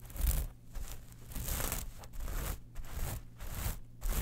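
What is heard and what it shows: Long manicured nails scratch across a small, flat zippered clutch pouch covered in gold, silver and black metal mesh, held in both hands. The result is bursts of bright, gritty rustling and crinkling scratches separated by brief pauses, over a steady low rumble.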